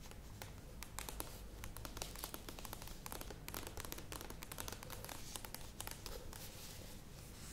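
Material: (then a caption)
Plastic. Long nails tap and scratch quickly on the sides of a medium plastic yogurt tub standing upright. The result is a dense, steady stream of crisp clicks and bright, crackly scraping over a low, constant hum.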